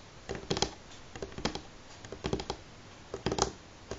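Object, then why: Wooden table top. Fingernails of both hands tap rapidly on a solid, light wooden table top, mimicking typing. Short, dry clicks arrive in uneven bursts with brief pauses between them, each tick bright with a faint low knock underneath.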